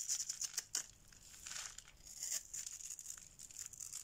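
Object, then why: Bar soap shaved with a metal blade. A solid oval yellow bar of dry soap is held in the hand and shaved with a metal blade, producing quiet, bright, crisp scraping and crinkling strokes with a few sharper flicks early on. Crumbly shavings come away from the bar.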